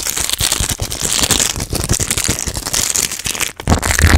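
Fingertips with long black nails crinkle, rub and squeeze an empty, flexible, small green printed plastic/foil snack wrapper just above a microphone. Dense, fast crackling and rustling fills the clip, with bright crispy texture and low thumpy handling bumps. There is a brief near-silent gap around 3.5 seconds before a louder final burst.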